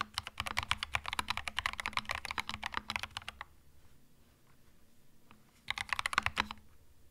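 A compact cream mechanical keyboard with plastic keycaps is typed on slowly with the fingertips. A run of bright, crisp clacks lasts about three and a half seconds, then a pause with only a faint click, then another short burst of keystrokes. The sound is dry and short, with little low end.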